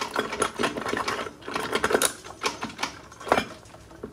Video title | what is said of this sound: Ford 4r75 4r75E transmission assembly rebuild | You know it's down all the way when you can pick up a bit. It sounds solid.